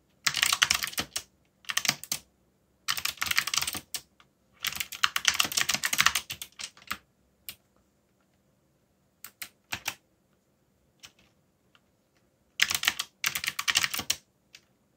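Fingertips type on a backlit mechanical keyboard with dark plastic keycaps, producing bursts of rapid, bright, crisp clicks. The typing comes in several dense runs separated by pauses, with a few isolated keystrokes in between and a final burst near the end.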